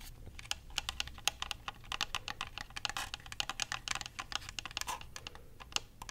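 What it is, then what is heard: Plastic game controller. Fingertips and nails tap and click the buttons and shell of a white, hand-sized, hollow plastic Xbox controller. A rapid, uneven run of dozens of dry, bright clicks and taps centers around 2.7 kHz, each dying away almost instantly, over a faint low rumble.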